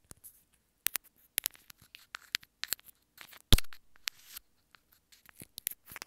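Long nails tap and scratch the surface of a small white plastic earphone inline remote held up in both hands. Sparse, sharp clicks and short scratchy bursts are heard, with bright, high-reaching detail and gaps of near silence. About halfway through comes one louder tap that fades briefly.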